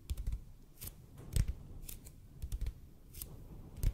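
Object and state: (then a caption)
EPP foam roller. A large hollow red-and-white EPP bead foam roller, held close to the mic, is slowly tapped and scratched with the fingertips. Soft, dull low thumps alternate with brief bright, papery scratching streaks, each dying away almost instantly, with quiet gaps between them.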